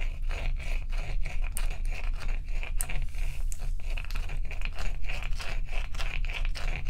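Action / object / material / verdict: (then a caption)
scrape / large block of ice / ice / none. A fingernail scrapes across the frosty top surface of a large, solid, dome-shaped ice block resting on a towel. Quick, repeated, dry scratching strokes give a crisp, bright rasp under a steady low rumble.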